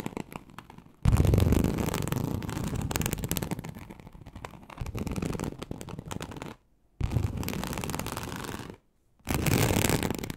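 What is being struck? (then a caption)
Embossed leather sheet. Very long acrylic nails on both hands scratch a large, flat, teal snakeskin-embossed leather sheet (likely faux) lying on a surface. The result is a dense, rapid, rough scratching with a deep, low-heavy rustle. It plays out in three stretches separated by brief silences.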